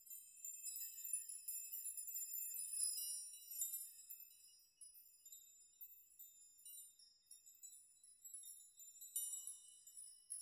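Fingers push and sweep through a hanging curtain of long metal nails in a brushing, shaking motion, so the nails tinkle against each other. A dense, quiet shimmer of bright, high-pitched metallic jingles with short rings fills the first few seconds, then thins to sparser tinkles before a brief renewed flurry near the end.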